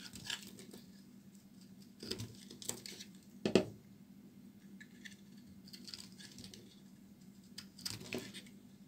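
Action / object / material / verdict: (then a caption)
scrape / bar of soap / soap / none. A solid, palm-sized oval of pink bar soap is held in one hand and carved and scraped with a metal utility knife blade, so shavings fall away. Quiet, soft scraping and crisp little cuts sound over a low steady hum. A sharper, louder cut comes near the middle, and brighter scrapes follow toward the end.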